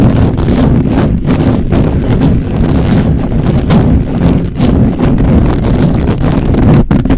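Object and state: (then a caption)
Metal mesh microphone grille being scratched. Fingertips and nails scratch fast and aggressively across the hollow, perforated metal mesh head of a black microphone. The result is a loud, continuous, rumbling scrape, heavy in the low end and muffled, with only brief dips in the dense texture.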